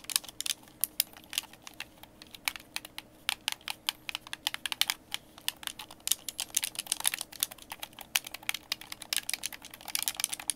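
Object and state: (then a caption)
Plastic game controller. A white, hand-sized, hollow plastic Xbox game controller is held in both hands while fingertips tap and click its buttons and thumbsticks. A fast, irregular stream of sharp, dry, bright clicks rises over a quiet background with a faint steady low hum, each click stopping almost instantly with no ring.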